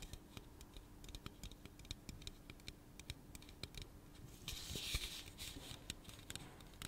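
Fingernails click and tap on the body and bottom rim of a hollow pink aluminum soda can held in the hand, making a quick, uneven run of bright, dry clicks that die away almost at once. Around the middle the tapping briefly turns into a louder, scratchy rush of high-pitched sound before the light clicking returns. A faint, steady low hum sits under the whole clip.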